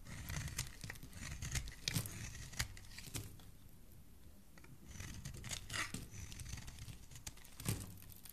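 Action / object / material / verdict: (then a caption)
scrape / bar of soap shaved with a metal blade / soap / none. The edges of a solid pink bar of soap held in the hand are shaved with a metal utility blade. The quiet, crisp scraping and crackling strokes come in irregular bursts, with a low rumble and a bright hiss that die away quickly. There is a softer lull in the middle before the shaving picks up again.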